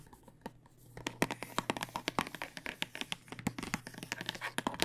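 A clear plastic tube filled with dice is held horizontally and tapped with fingernails. After a quiet first second with a few faint taps, a rapid, irregular run of sharp, dry clicks follows. The clicks have a light rattle and die away almost instantly.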